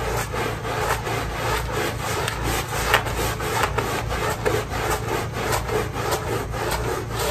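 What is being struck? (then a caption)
Fabric pile rug scrubbed with a stiff-bristle brush. A small pink fabric pile rug, wet with thin foam, is scrubbed by hand with a short handheld stiff-bristle brush in back-and-forth strokes. A steady, wet, bristly rubbing swishes continuously in uneven rhythm, with a low hum beneath and occasional slightly sharper scrapes.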